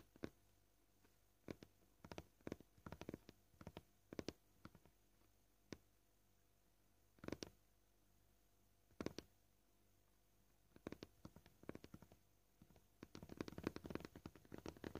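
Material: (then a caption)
Plastic. Short painted fingernails tap gently and slowly on a flat, solid white plastic cutting board. Quiet, dry, clicky taps with almost no ring come in scattered single hits and small bursts over a faint steady hum. A faster, denser flurry of taps builds up near the end.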